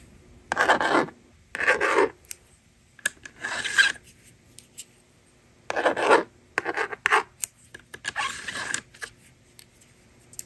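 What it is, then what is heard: Plastic magnetic drawing board. A yellow plastic stylus scratches numbers into the honeycomb screen of a hand-held blue and pink plastic magnetic drawing board, then the board's plastic eraser slides across it. Short bursts of dry, raspy scratching and rubbing with a bright hiss come in irregular strokes, separated by near-silent pauses.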